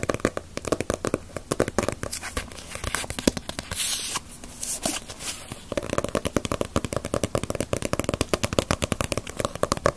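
A Dragon Ball paperback manga with a glossy paper cover is held in the hands and tapped with long nails on its front and back covers. Quick, crisp, dry clicks come in dense bursts, broken in the middle by a softer stretch of brushing, crinkly sound before the rapid tapping resumes.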